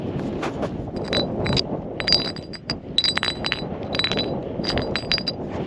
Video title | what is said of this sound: EP.5 - Xinjiang & the Great Wall - Cycle touring the world | I can't tell you why yet, but it sounds like glass.